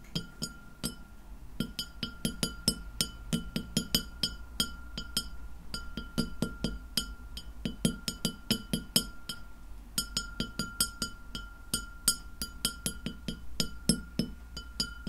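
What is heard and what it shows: Long nails on both hands tap rapidly across a large, round, solid white glass plate lying flat and empty in front of the recorder. Each tap is a bright, sharp click with a short decay. A steady glassy ring holds underneath around 1.4 kHz over a low, constant hum.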